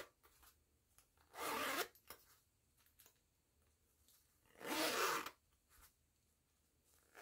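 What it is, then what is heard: Fabric zipper pouch being zipped. Fingertips with long nails work the metal pull along the yellow nylon zipper of a small pink and yellow woven jute-look fabric pouch. Two bright, raspy zipping runs stand out, separated by quiet stretches with faint clicks and taps from the pull and nails.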